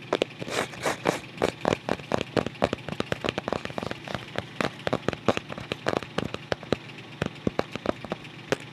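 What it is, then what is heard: Cardboard photo album cover. Fingertips scratch and tap the flat back cover of a closed white photo album made of paper-covered cardboard. Dozens of quick, dry, crackly taps and scrapes follow one another with almost no ring, carrying a bright papery texture over a low, steady hiss.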